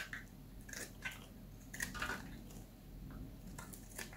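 A solid, palm-sized oval yellow bar of dry soap is held in one hand and shaved with a metal utility knife blade, scraping and cutting across its surface. Short, bright scraping strokes sound over a low steady hum, and curls and flakes fall onto a pile of shavings.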